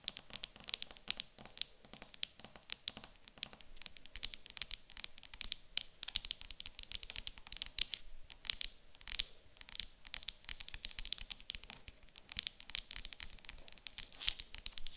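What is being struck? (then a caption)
Small wooden block. A small, solid, light wooden cube standing on a table is tapped and scratched on its top and sides with long acrylic nails. Dense, rapid, bright clicks and scratchy rasps follow one another throughout, each dying away almost instantly, with little low end.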